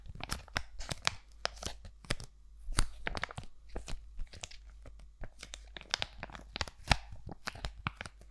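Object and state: Foil-plastic sheet mask pouch.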